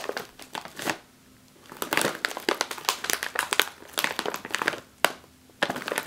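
A full, sealed, foil-lined plastic chip bag is pressed on top with a palm and scratched with long nails. It gives bursts of bright, crackly crinkling and rapid scratchy ticks, broken by brief quiet pauses.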